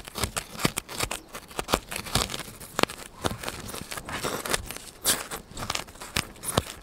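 A solid white polystyrene foam block held beside the microphone is scratched and pierced by hand with a needle. Dry, crackly scrapes and sharp squeaky pops come in an irregular stream, with bright, crisp bursts and no ringing after each one.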